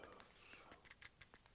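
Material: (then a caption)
Plastic. Fingertips tap on the textured, rough plastic shell of a clamshell handheld emulation device styled like a Game Boy Advance SP. About eight quiet, light taps sound, each with a dry, bright click that dies away almost instantly.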